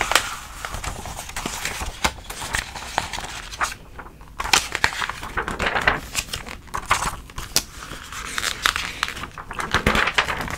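A thick, soft-cover clothing catalog with glossy paper pages is held in one hand while the fingers flip and riffle through its pages. Steady, bright paper rustling and crinkling is punctuated by many sharp, quick flicks as individual pages snap past, with brief quieter pauses between runs.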